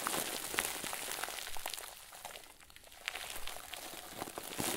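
A head-sized, round white plastic bag, tied and stuffed full into a crinkle ball, is squeezed and crumpled by the fingers and thumbs of both hands. It makes a soft, bright crinkling with scattered sharp crackles, easing into a quieter stretch midway before the crackling picks up again.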